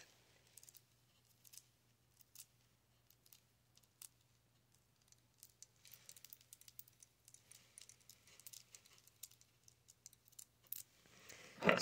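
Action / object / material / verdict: tap / rose quartz stone bead bracelet / quartz / none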